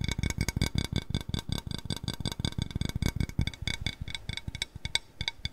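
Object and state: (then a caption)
Ceramic bowl, tapped. A small white glazed ceramic cat-shaped bowl, hollow and empty, is tilted and tapped on its inside and rim with fingertips and nails. Rapid, irregular clicky taps each pair a low hollow thump with a short, bright, ringing ceramic ping. The taps die away almost at once.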